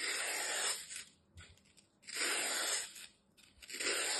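A utility knife blade scrapes and shaves down the face of a hand-sized, solid, dry green floral foam slab with a crumbled edge, held in the hand. Three long, bright, hissing scrape strokes sound with a gritty crunch, separated by quiet pauses with faint small crumbling ticks.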